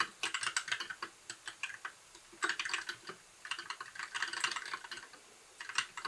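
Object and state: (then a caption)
Plastic mechanical keyboard. Fingertips type steadily on a compact white backlit mechanical keyboard with plastic keycaps. Quick, bright, clicky keystrokes come in rapid bursts separated by brief pauses. Each click is dry and short, with almost no low end.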